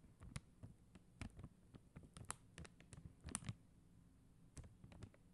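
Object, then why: Plastic rhinestone stickers on a backing sheet. Long acrylic nail tips tap quickly over a flat sheet of faceted clear and blue plastic rhinestone gem stickers on white backing. The result is a quiet, irregular run of short, dry clicks with a soft low thump beneath bright ticks, over a faint steady hum.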